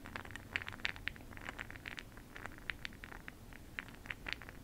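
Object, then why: Small glass cup of makeup pearl beads stirred with a brush. A makeup brush stirs a small clear glass jar full of bronze makeup pearl beads held in a hand. It makes a quiet, rattling, clicking patter of many short, bright clicks centered around 2 kHz, over a faint, steady low rumble.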